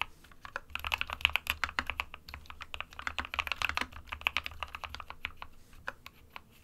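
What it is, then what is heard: Plastic mechanical keyboard. Fingertips of both hands type quickly on an SK61 compact 60% plastic mechanical keyboard with white and grey keycaps. A steady stream of sharp, dry key clicks with very short decay stays centered around 2.6 kHz, with bright, high edges over a faint low hum.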